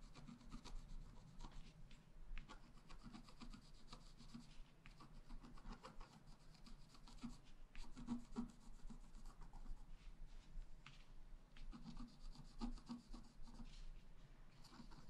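A wooden stylus point scratches across the black coating of a flat A4-size scratch-art sheet with a rainbow layer underneath, which lies on a table while a hand holds it steady. Quiet, dry rubbing and scraping strokes follow one another continuously, with a low body and a little bright grit on each stroke.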